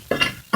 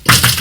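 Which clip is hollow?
The first.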